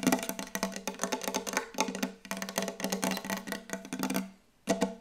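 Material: Wood.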